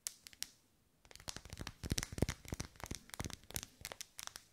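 A lit, hand-sized pink pillar candle of solid wax with vertical ribs is held in both hands while long pale almond-shaped nails tap and scratch along its ribbed sides. A few sparse, sharp clicks give way after a short pause to a quick, uneven run of dry taps and scratchy, crinkly scrapes with a bright, crisp edge. Each sound stops almost instantly, with no ring.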